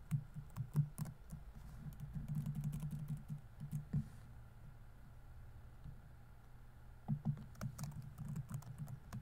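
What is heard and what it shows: Fingertips rapidly tap the plastic keys of a grey laptop's keyboard, making soft, dull clicks with a low thump. A burst of typing stops around four seconds, a low steady hum fills a quiet pause, and then typing starts again near seven seconds.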